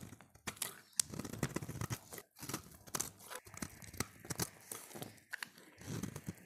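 A utility knife blade scrapes and flakes a solid, oval, light blue dry bar of soap held in the hand. It makes a quick run of crisp, crumbly scraping strokes with bright crackling edges and short thuds underneath. Each stroke stops sharply, with brief quiet gaps between them.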